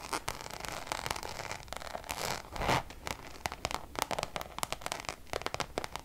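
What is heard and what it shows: Long nails tap and scratch across the surface of a Louis Vuitton pouch made of Damier checkered coated canvas. The sound is a quick run of crisp, dry clicks mixed with bright, raspy scratching strokes, with a louder swell of scratching near the middle.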